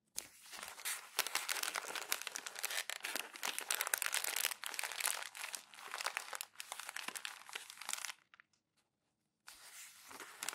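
Thin glossy magazine pages are crumpled and squeezed by bare hands on a desk, giving dense, bright, crackling crinkles with sharp snaps and almost no low end. The crumpling runs continuously for about eight seconds, stops into near silence, then resumes more softly at the end.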